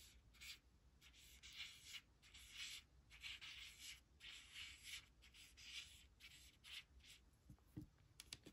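A white plastic stylus traces the letters of a thin, flat laminated cardstock word strip reading "does not / doesn't," scratching across the card surface while long nails hold it on a woven blanket. Quiet, bright, dry scratching comes in irregular short strokes and bursts, with a faint low rumble underneath and a couple of soft low taps near the end.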